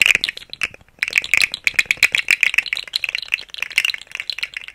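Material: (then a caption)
Plastic. A rainbow segmented hollow plastic articulated slug fidget toy is shaken close to the microphone, its segments rattling in rapid, dense clicks. The clatter is bright and high, with almost no low end, and stops briefly just before the one-second mark before resuming steadily.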